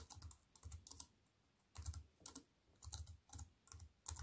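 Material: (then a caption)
Plastic. A compact wireless keyboard with black plastic keys on a grey metal-look frame, lying flat on a wooden table, is typed on with fingertips and long white-painted nails. Irregular bursts of quick taps combine low, soft thuds with bright plastic clicks, separated by short quiet pauses.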